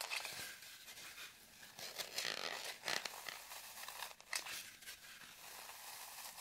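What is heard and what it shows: Long nails scratch the surface of a solid, deeply grooved green floral foam brick held in both hands, with crumbs on the table. The sound is a dry, bright, crumbly rasping with almost no low end, rising in brief sharper scrapes and dying away quickly.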